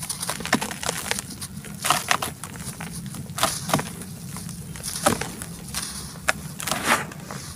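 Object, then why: Clumps of packed soil crushed by hand. Bare fingertips and palms crush and crumble packed clumps of dry red dirt in a large white plastic tub, rubbing them as loose powdery dirt pours from the hands. Dry, gritty crunches and crackles come in irregular bursts over a steady grainy hiss, with short bright snaps that die away almost instantly.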